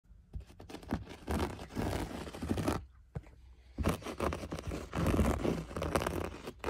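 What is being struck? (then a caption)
Looped-pile berber carpet. A bare hand's fingertips and short nails scratch and rub the rough loops of a beige, flecked, looped-pile berber carpet on a floor, a large, flat, soft surface. Dense, gritty scratching and rustling comes in long strokes with a short quieter pause midway, then picks up again just as vigorously.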